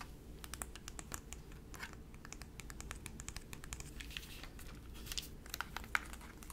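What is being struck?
Plastic handheld game console.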